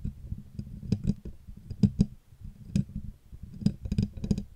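Long natural nails tap and lightly scratch the front panel of a hollow, desk-mic-size Blue Yeti USB microphone with a black matte metal body, moving around the logo, mute button and volume knob. The result is an uneven series of soft, dull clicks with a low, hollow tone near 200 Hz. Each tap dies away almost instantly, with faint scratching between them.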